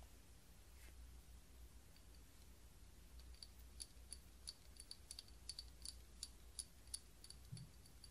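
Long nails tap and scratch a small ribbed glass holder with a lit candle inside. Faint scratching over a steady low hum gives way to a run of quick, bright glassy taps, each with a short high ring that dies away almost at once.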